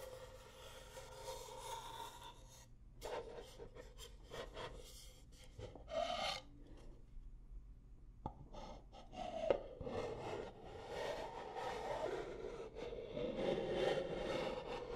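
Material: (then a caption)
Wood. Long nails scratch and rub along the outer surface of nested striped wooden bowls, which are held upright, hollow and empty. A soft, dry rasping continues throughout, with brief brighter scrapes and a few sharper taps standing out against the quiet.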